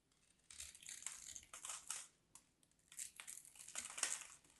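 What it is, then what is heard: Bar of soap being carved. A solid, dry, hand-sized white bar of soap is carved with a small craft knife, and crumbly flakes fall off. Bright, dry scraping and crunching strokes come in uneven bursts, separated by short pauses.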